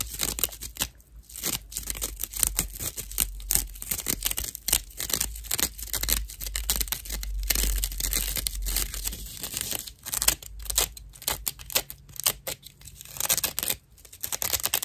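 A dry natural loofah sponge has its hollow cross-section edge scratched with long nails. The result is a dense run of rough, bright, crackling scratches that tear and crinkle in quick bursts, with a steady low hum beneath.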